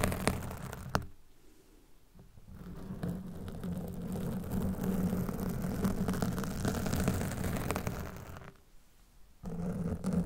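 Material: Foam.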